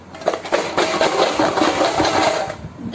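A tin jar containing coins is shaken, giving a loud, continuous metallic rattling with bright jingling peaks through the middle, fading slightly near the end.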